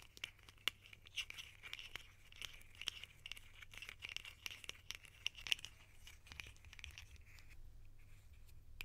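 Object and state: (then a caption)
Plastic lid tapped and scratched with nails. A small, hollow red plastic cap held in the hands is scratched and tapped with long painted nails. The result is a quiet, steady stream of sharp, dry clicks and bright scratchy rustling that centres around 2.9 kHz and dies away almost instantly, over a faint low hum.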